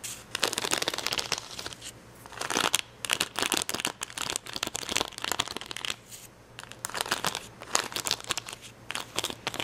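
Fingernails scratch and pick at red and yellow acrylic rhinestones stuck on a clear plastic sticker sheet. Bright, crinkly scratching and ticking come in dense bursts separated by short quiet pauses, with no speech.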